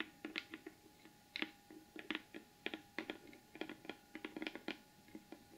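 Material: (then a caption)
Cardboard. Both hands rapidly tap the lid of a large, closed, hollow rectangular cardboard gift box with a gold glitter finish, using the tips of long almond-shaped acrylic nails. About nineteen quick, sharp, clicky taps land in irregular bursts, each with a bright tick over a brief hollow tone that dies away almost at once.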